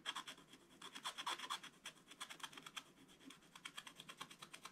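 A wooden stylus held in one hand scratches rapidly over the coated paper of a scratch-art page in a spiral book, held flat by the other hand, leaving black flakes. A quick run of short, dry, bright scratching strokes rasps softly with almost no low end, fading between strokes.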